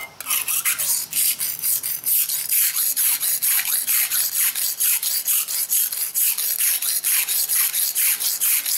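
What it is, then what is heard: Knife sharpened on a whetstone. A steel kitchen knife is rubbed back and forth on a dark grey rectangular whetstone, with fingertips pressing the blade in a sharpening scrape. About twenty-two bright, hissing strokes follow one another in a steady rhythm, each a short, high, gritty rasp with almost no low end.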